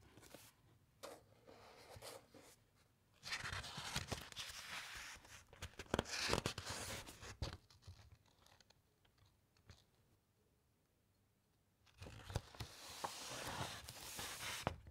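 Fingertips and long nails rub and scratch the thick uncoated pages of an open hardcover encyclopaedia. Soft, dry scratching and crinkling swells into a long, bright rustling stretch, fades into near silence, then returns as another dense, scratchy passage.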